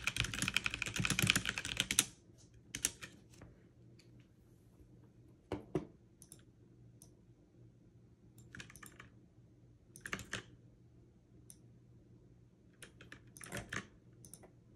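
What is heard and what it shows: A backlit mechanical keyboard with plastic keycaps is typed on quickly in a dense two-second burst of bright, crisp clicks. Then come scattered single-hand key presses with fingertips and long nails, each a short, sharp tap. A faint low hum sits underneath throughout.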